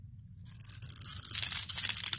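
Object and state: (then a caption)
Bar of soap being shaved. A palm-sized, solid oval bar of soap, gold-coated over orange, is held in the hand and scraped and shaved with a metal utility-knife blade. After a faint low hum, a bright, crisp scraping crunch starts and grows louder and denser, with sharp shaving bursts near the end.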